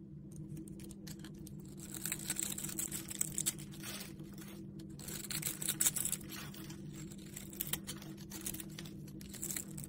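A utility knife blade scrapes and carves a solid, palm-sized rectangular red bar of soap with a textured crosshatch surface, held in one hand, cutting it into small cubes. Crisp, bright scraping and crunchy crackling come in dense bursts over a steady low hum.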